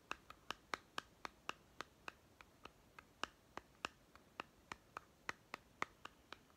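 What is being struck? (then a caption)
Small plastic toy food tin. A small hollow plastic toy pet food tin with a paper label is scratched and tapped with short fingernails along its side and end. Twenty-four quiet, sharp, dry clicks come at a steady, fairly quick pace, each with a hollow tone around 1.2 kHz, bright upper edges and almost no low end. Each tap dies away almost instantly.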